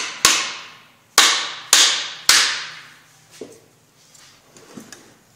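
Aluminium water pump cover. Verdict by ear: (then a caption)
Loose. Four light hammer blows strike the aluminium cover of a centrifugal water pump, kept gentle so the aluminium does not break, as the cover is worked loose. Each blow is a bright, sharp metallic tap with a high ring that fades over a fraction of a second. Only faint small knocks and rattles follow, and the changing sound shows the cover starting to loosen.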